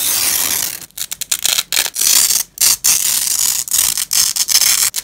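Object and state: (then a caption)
Nylon velcro strap being ripped open. A black-gloved hand pulls a fastened purple nylon velcro strap apart on grey fabric. The result is a run of bright, crackling ripping bursts with brief silent gaps between them.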